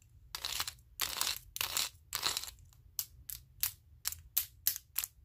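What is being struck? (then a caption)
Wooden spring clothespins. A stack of wooden spring clothespins, with more clothespins clipped onto the fingers, is clicked and tapped together. It opens with a few longer, bright, scratchy bursts, then shifts to shorter, sharper wooden clicks at an uneven pace. The sounds are high and dry, with almost no ring after each one.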